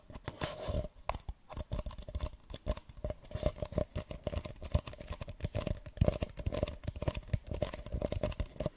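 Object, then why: Empty paper cup. A single small, hollow, empty printed paper cup, held upside down, is scratched and rubbed on its sides with long nails. Dense, rapid scratching and tapping strokes carry a low, hollow body with a faint resonant tone near 600 Hz. The strokes run almost continuously, without long pauses, across the whole clip.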